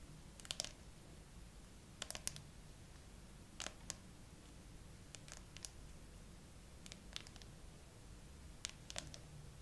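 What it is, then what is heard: Smartphone glass back tapped with nails. Long acrylic nails slowly tap and scratch the flat frosted glass back of a gray iPhone with no case, mounted upright on a tripod with a small clip-on mic on top. Brief, bright, clicky taps come in small clusters about every one and a half seconds. Each tap stops almost instantly over a quiet, steady low hum.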